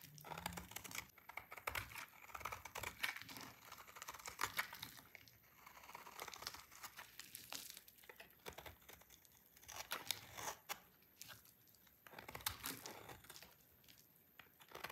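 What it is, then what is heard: Dry soap bar being shaved. A solid pink dry soap bar held in the hand is shaved with a utility knife, producing a continuous series of crisp, dry cutting and scraping sounds. The short, crackly strokes come in quick succession with bright, high-pitched texture and almost no low end.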